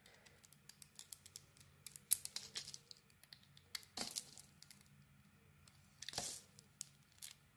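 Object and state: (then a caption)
Bar soap being carved. A metal blade carves strips off the surface of a solid green Isana bar of soap with glitter and a white core, held in the hand. It makes a quiet series of short, crisp, bright scraping and crackling cuts with almost no low end. Louder rasping strokes come around two, four and six seconds.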